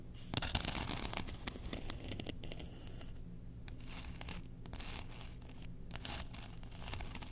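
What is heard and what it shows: Long nails scratch the surface of a solid, engraved bamboo spoon held up in the air. The result is a quick run of dry, bright scratches and rasps, loudest in the first two seconds and then continuing more softly over a steady low hum.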